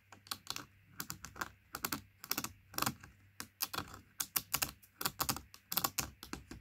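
Long nails tap rapidly on the side of a large Princes juice carton made of laminated cardboard with a plastic cap, lying on carpet. The taps are dry, crisp and bright, each dying away almost instantly, falling in quick irregular clusters like typing over a faint steady low hum.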